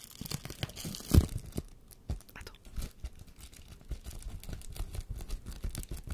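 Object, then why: Plastic bubble wrap sheet. A sheet of air-filled plastic bubble wrap is held up close to the microphone and crinkled and scratched with fingers and nails. The result is a dense run of soft, dry crackles and scratchy rustles, with one louder crinkle near the start before it settles into a steady, quiet texture.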